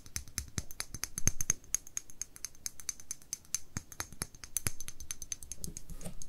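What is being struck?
Small glass dropper bottle with cap.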